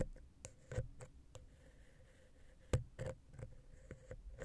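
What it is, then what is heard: Metal microphone capsule scratched with a wooden pick. A wooden ear pick scratches and taps between the heads of a small, hollow, silver metal X/Y microphone capsule on a Zoom H6. The result is a series of dull, close, low-heavy knocks and short scrapes, each dying away almost at once, with a faint steady tone underneath.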